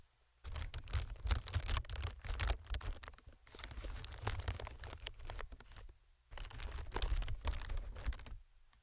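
Fingertips tap and scratch a clear plastic air packing pillow strip with printed text and inflated hollow chambers. The result is a dense run of crinkly taps and scrapes with a hollow low thump in three bursts separated by brief pauses.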